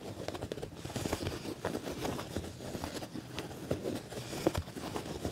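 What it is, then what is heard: Quilted leather jacket. Fingernails and fingertips scratch and rub across the padded, ribbed black leather panel of a quilted leather jacket. The result is a steady, close texture of soft scraping, crinkling and tapping. Many small transients rise through the rustle, with the low-mid body carrying most of the energy.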